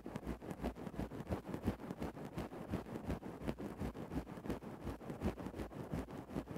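A thin bamboo stick scratches and pokes into a grey synthetic-fur microphone windscreen, producing about sixteen soft, muffled, low rustling scrapes in a loosely steady rhythm. The strokes are dull and close, with almost no brightness and no ringing after each one.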